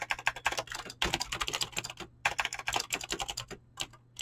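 Fingertips type fast on a mechanical keyboard with clicky green switches and PBT plastic keycaps. Rapid bursts of sharp, bright clicks come in quick runs, broken by brief pauses, over a faint low steady hum.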